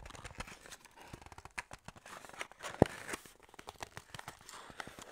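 Long nails and fingertips tap, scratch and grip the sides of a small, hollow, printed white-and-red paperboard skincare box that likely holds a tube. A quiet, steady run of dry, short taps mixes with papery scratching and crinkling, with one sharper, louder tap just before the three-second mark. Each tap dies away at once.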